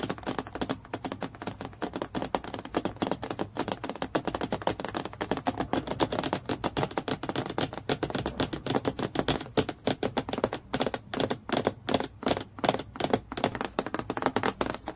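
Long nails tap quickly and continuously on a clear acrylic plastic clipboard, a thin, solid transparent sheet lying flat, briefly touching near the clip. The steady stream of crisp, dry clicks has a mid-range body around 625 Hz and almost no ring after each tap, becoming sparser and more sharply separated toward the end.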